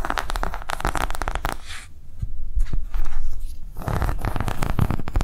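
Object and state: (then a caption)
Silicone coaster, tapped and scratched. Long nails tap quickly and scratch across the ridged surface and edge of a round, thin, flexible green silicone coaster. Rapid clicky taps fill the opening stretch, then a quieter scratchy rustle follows before dense tapping resumes, all over a soft low thumping.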